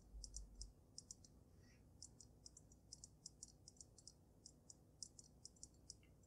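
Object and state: Glass snow globe tapped with nails.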